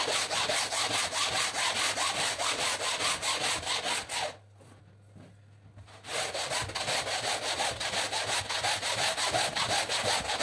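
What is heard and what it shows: A long-handled pink-and-blue bristle brush scrubs a large, very dirty rainbow woven rug lying flat on the floor, wet with foam, in long back-and-forth strokes. Steady, rhythmic, bright scratchy rubbing fills the clip, breaking into a quiet pause for about two seconds in the middle before the scrubbing resumes at the same pace.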